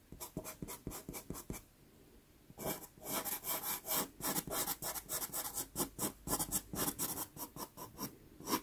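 A dark brown pastel pencil shades a small taped sienna Pastelmat card with rapid back-and-forth strokes, making dry, bright scratching and rubbing sounds. After a short burst of strokes there is a brief pause, then the shading resumes in a steady, dense run until the end.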